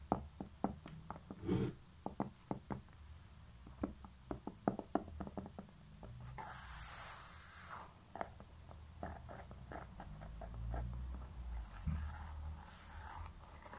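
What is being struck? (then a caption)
Small concrete pen holder. Long nails tap on the bottom of a small, hollow, grey concrete pen holder with a labeled base, producing a quick run of short, dry clicks that die away almost instantly. The nails then scratch across the bottom in bright, hissy rasps, mixed with more scattered taps, over a faint low rumble.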